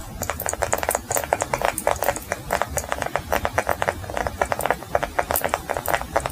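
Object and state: Beeswax block.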